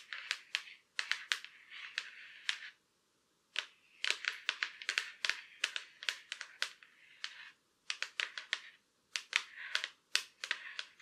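Long curved black acrylic nails tap and scratch across the back of a silver Acer laptop lid, a thin hollow shell. Sharp, bright clicks come in quick clustered bursts with light scratchy rustling between them and a few short pauses. Each tap dies away almost instantly, with no low thud.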